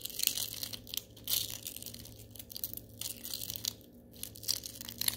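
A few small gold glitter styrofoam balls are rolled and squeezed with the fingers in an open hand. The result is a quiet, bright, dry crunching and crinkling, with louder bursts near the start and end over a faint low hum.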